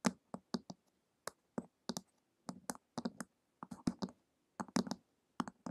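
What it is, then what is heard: Hardcover book tapped with fingernails. Long acrylic nails tap the glossy printed cover of a flat, solid hardcover book lying on a table in a ticking rhythm. The taps come as short, dry clicks, some single and some in quick pairs and triplets, each pairing a bright tick with a low knock around 230 Hz and dying away almost at once.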